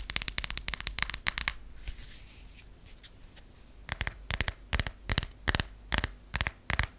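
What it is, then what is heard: Passport booklet, tapped and riffled. Fingernails tap on a US passport booklet, a cardboard/vinyl cover over paper pages, in a fast run of sharp, dry clicks. A quieter stretch of soft, papery riffling follows as the booklet is partly opened and the pages are riffled by the nails. Slower, evenly spaced bright taps then close the clip, each dying out almost instantly.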